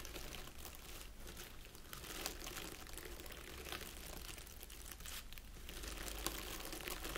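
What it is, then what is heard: Artificial plastic pine wreath. Fingertips and nails of both hands scratch and press into a small round wreath of artificial plastic pine needles resting on a table. The result is a steady, soft crinkling and scratching rustle with bright, brittle crackles, occasional sharper ticks, and a low, constant background hum underneath.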